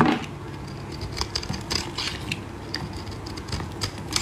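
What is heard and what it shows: A solid green bar of soap, held in gloved hands, is shaved and cut with a metal blade, producing dry flakes. Short, dry, crackling scrapes with bright edges recur at irregular intervals over a soft, low background hush.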